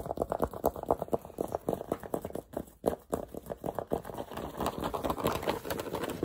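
Fingertips and nails rapidly tap and scratch the stiff brim and crown of a black structured New Era fitted cap with a sticker on the brim, held in the hands. The result is a quick stream of dry, hollow midrange taps with very little low or high end, each dying away almost at once. Toward the end the taps blur into a denser, more continuous scratching.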